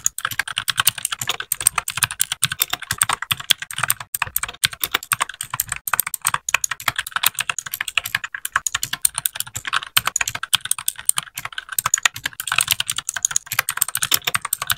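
A small white 60% mechanical keyboard with plastic keycaps is typed on continuously with the fingertips of both hands. The rapid keypresses make a dense stream of short, bright clacks with very little low end, each tap dying away almost instantly.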